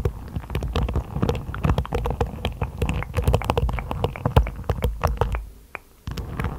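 Long blue-painted nails scratch and flick in quick strokes across the tips of a hairbrush's dense black plastic bristles set in a wooden base. The result is a dense run of sharp, dry ticks and crackles over a low rumbling undertone. The strokes dip into a brief near-silence just before the end, then pick back up.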